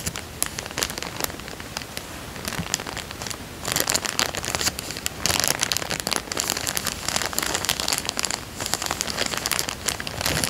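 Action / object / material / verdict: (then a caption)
scrape / thin plastic coin bag / plastic film / none. Fingers rub and crinkle the film of a thin, clear, empty plastic coin bag, partly folded and resting on a fabric surface. A dense stream of bright, crisp crackles and rustles continues throughout, growing louder and busier from around the four-second mark.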